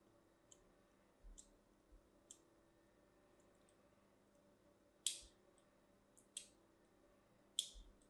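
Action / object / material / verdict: scrape / solid bar of soap / soap / none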